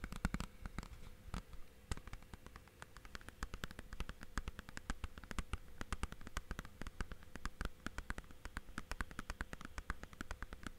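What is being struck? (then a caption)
Plastic game case. Fingertips tap quickly and continuously on the face and edges of a thin, hollow blue plastic Blu-ray/game case. The result is a dense stream of soft, dry, clicky taps with almost no ring, heavy in low frequencies, at a steady, quiet level.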